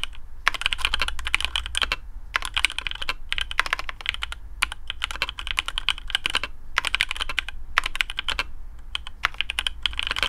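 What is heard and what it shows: Fingertips of both hands type quickly on a black custom AARU mechanical keyboard with TTC Speed Silver switches, PBT plastic keycaps, a carbon fibre plate and a hollow case. Bursts of short, bright, clacky keystrokes come in rapid runs separated by brief pauses, each click dying away almost instantly over a steady low hum.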